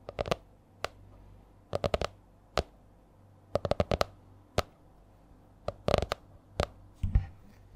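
Long nails tap on the stiff laminated cover of a purple A4-size spiral notebook held upright. Short, sharp, dry clicks come in uneven bursts and single taps with quiet gaps between them, over a faint low hum. The taps die away almost instantly.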